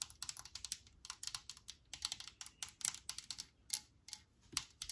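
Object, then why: Metal aerosol can with plastic cap. A Lysol disinfectant aerosol, a metal can with a plastic cap, is held in hand and tapped with long nails on the cap and body. The result is a rapid, uneven run of quiet, dry, bright clicks that die away almost instantly, with almost no low end.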